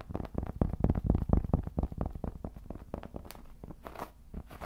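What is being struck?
Round cork trivet.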